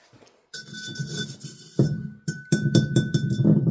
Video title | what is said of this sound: La terre rouge de la briquetterie | ça sonne aussi c'est très très fin donc la terre encaisse bien